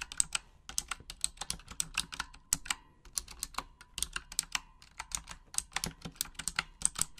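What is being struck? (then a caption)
Plastic mechanical keyboard. Long acrylic nails type in Japanese on a full-size pink Razer Huntsman mechanical gaming keyboard with RGB backlighting and plastic keycaps. The result is a rapid, uneven stream of sharp, bright clicks and clacks with very short decay, a faint low thud under each press, and brief pauses between bursts.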